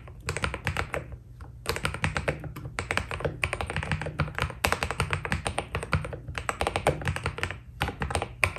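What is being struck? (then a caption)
Mechanical keyboard with plastic keycaps. A white Keydous NJ80 mechanical keyboard with a foam-dampened steel plate and white Cherry-profile PBT keycaps is typed on quickly with the fingertips of both hands. Rapid, short, clacky key presses come in dense bursts with brief pauses between them, with a low thocky body under the brighter clicks.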